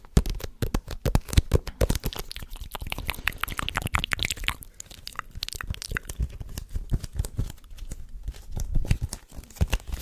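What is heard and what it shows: A medium-sized paperback book, possibly a manga, with a glossy green and white cover is held in both hands close to the microphone while fingertips tap, scratch and riffle its pages and cover. The result is a dense stream of quick, dry taps and crinkly paper scratches with a heavy low thump and little ring. Some passages are busier and louder than others.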